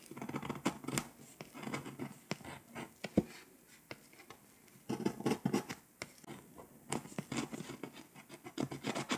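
A pink scraper scratches the foil coating off a flat, foil-coated paper scratch-off map in fast strokes. The result is a quiet run of dry, crisp scraping bursts with a low-mid body and brief bright edges. A softer lull falls around the middle before the quick scratching picks up again.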